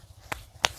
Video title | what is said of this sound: BELI KULKAS BARU BUAT KELUARGA DI NGAWI ⁉️ yang lama kekecilan itupun dulu aku beli pas awal2 jd tkw | suarane diketoki granite tidak kopong sama sekali